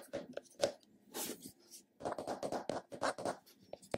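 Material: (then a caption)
Plastic. Fingertips and short nails tap and scratch the top and side of a round, flat, hollow purple plastic cosmetic container held in a palm. Quick dry clicks and brushing scratches come in uneven bursts, with a light hollow plastic ring around the mid range and bright scratchy edges.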